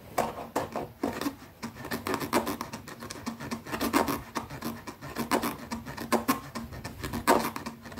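A small black zippered leather pouch, closed and held flat, has its top edge scratched and tapped by long nails. Quick, dense, dry taps and rasping scratches run throughout with a short ring, carrying mostly mid-range energy and a bright click edge on each tap.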